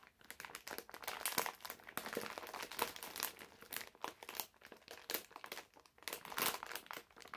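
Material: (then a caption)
Plastic film. A medium printed plastic-film bag full of candies is held in both hands while fingertips and nails crinkle and scratch its surface. The sound is a continuous stream of bright, crackly crinkles and scratchy rustles, rising into louder bursts and dipping between them, with almost no low end.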